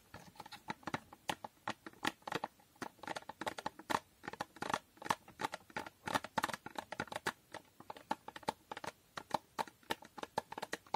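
Fingernails tap and scratch on a small hollow cardboard box with a holographic foil finish. The result is a rapid, irregular run of short, dry clicks and scrapes, each with a brief hollow knock centered around 900 Hz. The sounds die away almost instantly.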